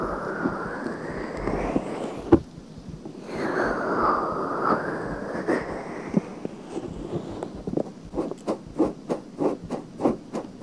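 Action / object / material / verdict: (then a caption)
scrape / silicone binaural microphone ear / silicone / none. Long nails slowly scratch inside a pale pink silicone binaural microphone ear, making close, muffled rustling and scraping. The sound swells into dense, gritty friction and then settles into a run of short, rhythmic scratches near the end.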